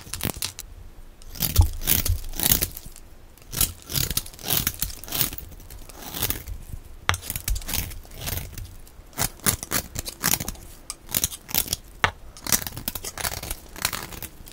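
A small metal blade scrapes a solid, dry, oval bar of pink and white striped soap held in one hand, sending curls and shavings onto a pile of colored soap flakes. Quick, repeated dry scraping strokes make bright, crisp rasps and crunches with soft low thuds underneath.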